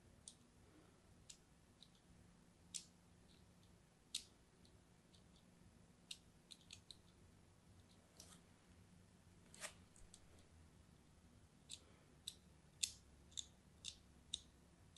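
A palm-sized orange-and-white striped solid soap bar, held in hand, is scored with a small metal blade tip held by a hand with long pink nails. Around seventeen short, crisp scraping and scratching cuts are heard, each a bright, dry click-like crunch with almost no ring, scattered irregularly over a quiet, faint low hum.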